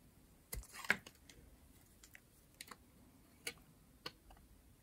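A metal blade scrapes and shaves thin curls from the face of a pink rectangular solid bar of dry soap. It makes a series of short, dry, crisp scratching clicks with bright high edges, spaced unevenly over a quiet background, and each one stops almost instantly.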